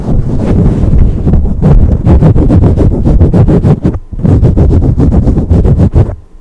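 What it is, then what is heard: Foam microphone windscreen being tapped. Long pink acrylic nail tips tap rapidly on top of a black foam windscreen on a studio microphone. This makes a dense run of muffled, boomy thumps, deep and low with almost no brightness. A short pause falls just before the four-second mark, then the tapping picks back up and fades out at the end.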